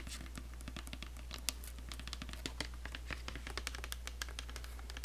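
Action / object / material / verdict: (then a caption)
tap / plastic lotion bottle with flip cap / plastic / none. A medium white plastic body-care lotion bottle with a gold plastic flip cap, likely filled with lotion, is held in one hand and tapped by the long nails of the other hand, first on the cap and then on the bottle body. The result is a rapid, irregular patter of light, dry, bright clicks that die away almost instantly, over a steady low hum.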